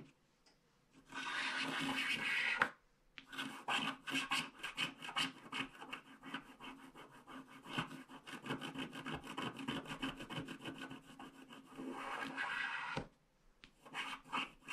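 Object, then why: Black-coated paper scratch-art card scraped with a wooden stylus. A wooden stylus scratches along the border strip of a flat paper scratch-art card with a black coating, making a dry, bright rasping sound. A long steady scrape gives way to a run of quick, uneven strokes, with brief silent pauses before the scraping resumes.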